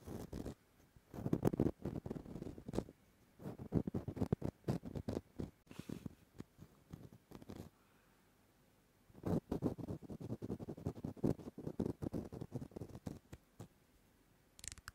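A small, oval, palm-sized pumice foot scrubber with a porous green-white surface and a white rim is held in one hand while fingertips and nails scratch its porous face. Bursts of dry, rapid scratching come in low-to-mid-range clusters, broken by quiet pauses near 6 to 9 seconds and again near 14 seconds.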